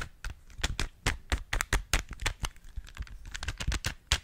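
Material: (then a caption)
Plastic. A small hollow plastic 3x3 Rubik's cube with coloured stickers is held close to the microphone while long nails and fingertips twist and click its layers and tap it. The result is an irregular run of sharp, dry clicks and taps, each with a low thud and a bright, quickly fading snap.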